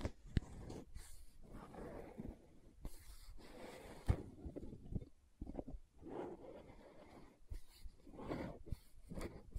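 Long nails tap and scratch the side wall of a green plastic aloe gel tub. Soft, muffled scratching swells in and out, mostly low in pitch, broken by sharp, brief taps at irregular intervals.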